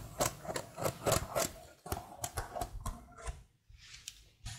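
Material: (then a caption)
Plastic. A detached black plastic laptop keyboard with patterned keycaps is held close while long blue-painted nails and fingertips tap and type on its keys. About eleven quick, clicky taps are heard in an irregular rhythm, each short and dry with a bright top. A few softer scratches fall between them.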